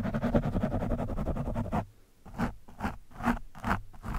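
The thin steel shaft of a screwdriver scratches and pokes a soft, porous orange foam windscreen on a microphone. Dense, continuous muffled scratching with a low, rumbling body fills the first two seconds, then drops to near silence. Five separate soft, scuffing pokes follow.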